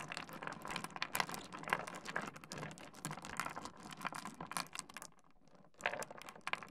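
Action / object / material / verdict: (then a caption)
scrape / small stone pebbles on a wooden surface / stone / none. A heap of small, solid, rounded and angular pebbles on a wooden desk is rummaged and pushed around by the fingertips of both hands. The stones clack against each other and the wood in a dense, bright patter of short, dry clicks. The clatter stops briefly near the 5-second mark, then resumes.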